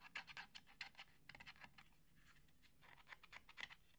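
A red JBL cylindrical portable Bluetooth speaker, hollow plastic covered with a woven fabric grille, is held in both hands and scratched with the fingernails along the fabric surface. Quiet, rapid bursts of dry, bright scratching come in uneven clusters, with a quieter stretch in the middle.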